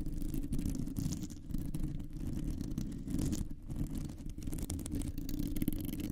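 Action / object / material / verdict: scrape / metal mesh microphone grille / metal mesh / none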